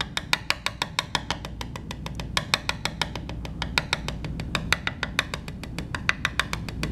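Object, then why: Carbon fiber composite panel tapped with a metal disc. A small metal washer or coin-like disc held in the fingers taps the surface of a black woven carbon fiber composite laminate block resting on a table in a coin tap test. About 45 quick, sharp clicks ring out with a bright, high click around 1.4 kHz, each dying away almost instantly, over a low background hum.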